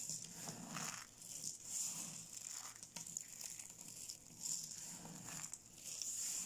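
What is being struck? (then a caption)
Small soap flakes. A pile of small, solid, dry yellow soap flakes on a pink surface is crushed and rubbed between both palms and fingertips, while the gold-wrapped soap cubes nearby stay untouched. It makes a quiet, steady, bright crunching and crinkling, with gentle swells as the flakes are ground together.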